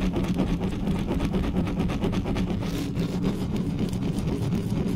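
Long natural nails and fingertips of both hands scratch fast and rub over the bare hollow metal mesh grille of a large black USB condenser microphone on a stand. The result is a steady, dense, close-up scraping and rubbing roar, heavy in the low end with a faint rhythmic pulsing and little high treble.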